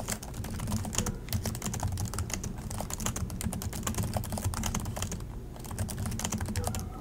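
Both hands type continuously with their fingertips on the plastic chiclet keys of an Acer laptop keyboard. A rapid, dense stream of short, bright clicks and taps runs throughout, with a brief lull near the middle. A steady low hum sits underneath.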